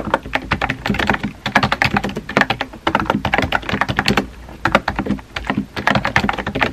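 Fingertips type on a compact pink plastic keyboard with round white keycaps. The result is a rapid run of crisp, clicky keystrokes with a bright edge and almost no ring. A brief pause in the typing falls just past the middle.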